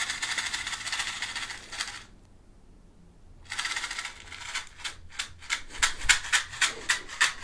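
A small clear hollow plastic clamshell box, partly filled with small colorful beads, is held in one hand and shaken and tilted so the pieces rattle against the plastic walls. A dense, bright rattle runs for about two seconds, stops into near silence, then resumes and breaks into quick, sharp, separate clacks toward the end.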